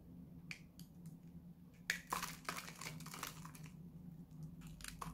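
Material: Soap.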